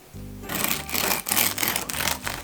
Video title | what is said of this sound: Полезный Амарантовый хлеб 🍞 How to make amaranth bread | Vous entendez comme ça craque ! Faites attention à la finesse de la croûte!